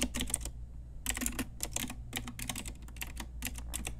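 Fingertips and long nails of both hands type on a pink Ajazz typewriter-style retro mechanical keyboard with round plastic keycaps. Bright, clacky keystrokes come in quick bursts with a short pause near the start, over a steady low hum.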